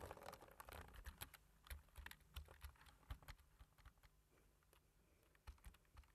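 Fingertips tap black plastic computer keyboard keys in close-up typing. The result is quiet, short, clicky key presses with a soft low thump. The taps come in an uneven rhythm, about one to two per second, over a faint steady hum.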